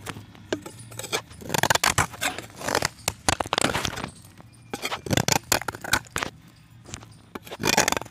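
A blade on an orange box cutter scrapes a solid, pressed chalk disc over a pan of chips. It makes a run of short, dry, gritty scraping strokes, bright and crisp, coming in uneven bursts with brief quiet gaps. A faint low hum sits underneath.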